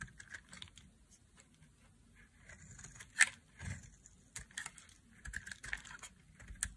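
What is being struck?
Bar of soap.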